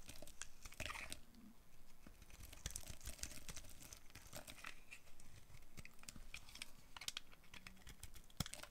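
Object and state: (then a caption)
Dry bar soap being carved. A solid, dry, rectangular green bar of soap is held in the hand and shaved and carved with a green-handled utility knife blade. The result is quiet, continuous dry scraping with crisp crunchy flaking and crinkling, and short, sharp, bright clicks scattered throughout.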